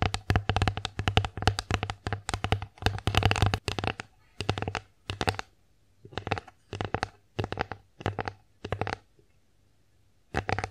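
Long acrylic nails tap and scratch an empty, flat, bear-face wooden (likely bamboo) children's plate with ear compartments, held upright. Quick, dry, clicky taps with a low hollow thump and bright edges come in dense rapid bursts for the first four seconds, then in short separated clusters with quiet gaps. Each tap dies away almost at once.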